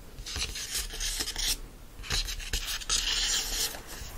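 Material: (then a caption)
Paper. Fingertips scratch the glossy card cover of a closed yellow paperback book, then fingers and palms rub across its opened paper pages. The result is dry, bright rasping and brushing strokes in uneven bursts with short pauses between them.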